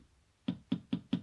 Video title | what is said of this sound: Installing a fresnel screen on a Chamonix 4x5: How to | Sounds like plastic. So that's the Fresnel.